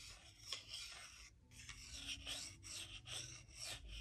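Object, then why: Wooden salad spoon and wooden salad fork. A solid wooden salad spoon is rubbed flat against a wooden salad fork, making a dry, bright rasping scrape. The strokes swell and fade in a steady back-and-forth rhythm, with most of the sound sitting in the high range and only a faint low rumble underneath.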